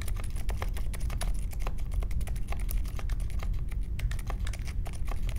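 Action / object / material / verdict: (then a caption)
tap / mechanical keyboard with plastic keycaps / plastic / none. Steady typing with the fingertips of both hands on a small 60% mechanical keyboard with a grey case, white, mint and pink plastic keycaps and silent linear switches, resting on a marble desk. Soft, quick keystrokes come in a continuous stream of short, muted clicks with brief bright ticks over a low, dense rumble, and each press dies away almost instantly.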